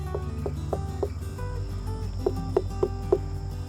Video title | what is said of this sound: WATERMELON HARVEST!! - When Are They Ready? | if it sounds hollow when you knock on it that one sounds pretty hollow